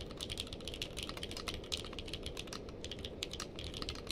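Fingertips of both hands type steadily on a purple-case mechanical keyboard with plastic keycaps. Quick, bright, clacky keystrokes fall in a rapid, even stream over a low, steady background rumble, each click dying away almost at once.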